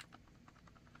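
A heavy Work Tuff Gear Mt. Lion fixed-blade steel knife, 23 ounces with its sheath, is shaken in its Kydex pancake sheath while the sheath's pins are held still. Only faint, small clicking sounds are heard, with no rattle. The knife sits tight in the sheath with great retention and no wiggle, or maybe a tiny bit.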